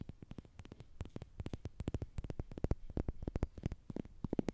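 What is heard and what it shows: Long nails scratch and tap a slim orange plastic tube with a green end, likely hollow, held close to the microphone. The result is a rapid, irregular run of short, dry clicks and scrapes with a soft low thump beneath each one and no lingering ring.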